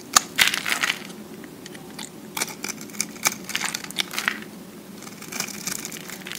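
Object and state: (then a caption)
Recycled soap disc being shaved. A utility-knife blade scrapes and shaves thick flakes from the face of a solid, hand-held round disc of pressed green-and-white recycled soap. The result is a series of irregular, bright, crisp crackling and crunching scrapes with very short decay, separated by brief quieter pauses.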